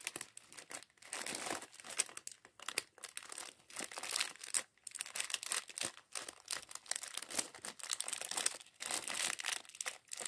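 Fingertips squeeze and crinkle a small clear plastic bag full of grey and white LEGO plastic bricks from LEGO Mindstorms mini bot set 40413, while the bricks inside rattle. The sound is a dense, bright crackle of crinkling plastic in uneven bursts with brief pauses, with almost no low end.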